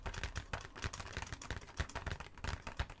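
Fingernails quickly tap and scratch a full, printed cardboard Hanuta box held in both hands. The result is a dense run of dry, fast clicks and light scrapes with a soft low thud under each tap, and every sound dies away almost at once.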